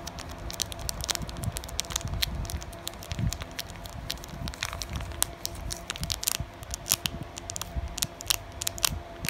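Fingers with long painted nails tap, scratch and crinkle a flat, sealed blue Pokémon trading card booster pack with cards inside, its thin plastic foil wrapper lying beside other packs. Dense, sharp crackling ticks and crisp crinkles fire irregularly over softer rustling and a faint steady hum, with each tick dying away almost instantly.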